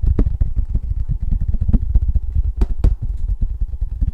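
Fingertips and nails tap rapidly on the bare silver back of a thin, embossed tin novelty license plate. The result is a steady stream of quick, dull, low thumps with almost no ring, and a couple of brighter, sharper clicks stand out near the end.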